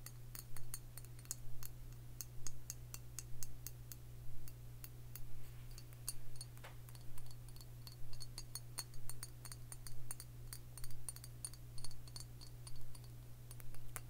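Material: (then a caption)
Glass. Fingernails tap on the shoulder and printed label of a large clear glass liquor bottle with a screw cap, filled with dark liquid. The taps are sharp, bright clicks that die away almost at once. They come in quick, fairly regular clusters over a steady low hum.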